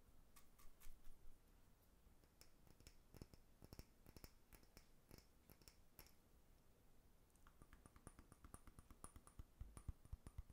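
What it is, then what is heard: Small glass jar. A small amber glass jar with a dark lid, held up close, is tapped and knocked with fingertips and nails, its contents unclear. Quiet, dry, rapid clicks and taps with bright edges come in uneven clusters, busier at the start and near the end. Each tap dies away almost instantly over a soft low rumble.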